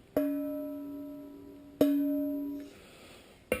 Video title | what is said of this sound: Two Stroke Pipe Building - Dyno Ep. 5 | This one's just a little flat. You can hear it just a little bit flat on the pitch.